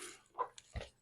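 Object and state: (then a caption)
Baked bread loaf sounding hollow (baked through). Taps on a freshly baked English muffin loaf, just tipped out of its pan onto a cooling rack, give short, dull knocks that fade almost instantly. The loaf sounds hollow, showing that it is baked through.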